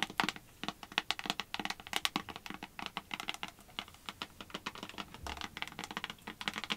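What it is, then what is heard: Plastic hand sanitizer bottle. Long white acrylic nails rapidly tap and scratch the sides of a small clear plastic hand sanitizer bottle with a pump cap and a label, apparently filled with gel. The result is a fast, uneven stream of sharp, bright clicks and light scratchy textures with very little low end, each tap dying away almost instantly.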